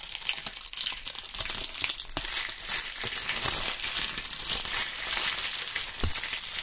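Bunches of dry brown maple leaves, held in gloved hands close to binaural microphones, are crumpled and crushed with the fingertips. The result is a steady, dense, bright crackling and crunching with almost no low end, punctuated by a few sharper snaps.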